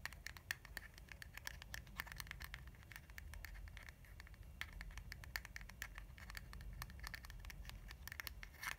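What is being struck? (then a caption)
Soft plastic cream tube. A filled lilac soft-plastic hand-cream tube is held in one hand while the long nails of the other hand scratch and tap its flat surface. Quick, dry clicks and short scratches come in a steady patter over a low, soft rumble, with a bright edge near 1.8 kHz and very little ring after each touch.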